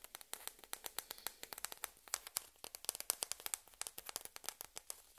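A small, hollow, white plastic ping pong ball is held in both hands and tapped and scratched with long red-painted nails, while another ball sits idle nearby. About 35 quick, dry, bright clicks come in an uneven run, each dying away almost instantly with faint scratchy texture between them. The sound is quiet and high, with almost no low end.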